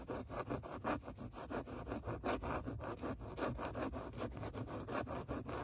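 Long nails scratch back and forth across a padded seat covered in grey suede-like microsuede upholstery, leaving marks visible in the nap. The result is a quick, uneven run of soft, dry rasping strokes with a muffled low rumble beneath them.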